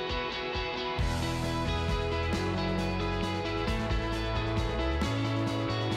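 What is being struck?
Nothing is struck.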